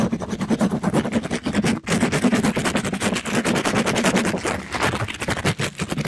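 A soft, compressible pink glittery mesh-covered scrub sponge, held in a gloved hand, is rubbed quickly across the top and side of a microphone. It makes a dense, continuous scratchy rustle with a steady low hum-like body and bright crackling texture. The sound pauses only briefly just before the two-second mark.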